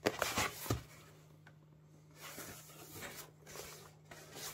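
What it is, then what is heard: Cardboard shipping box being scratched. Fingertips and nails rub and scratch across the surface and edges of a closed, hollow, medium-sized corrugated cardboard Amazon Prime box with paper labels and tape, resting on a cutting mat. Sharp, bright scratching bursts come first, then give way to softer, papery rubbing that swells and fades over a faint steady low hum.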